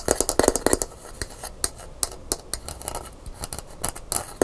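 Long pink nails scratch and tap quickly along the smooth handle of a brown painted gourd maraca held by its hollow body. Sharp, bright clicks come in an irregular, fast run over a soft, dry scratching hiss, each tap dying away almost at once.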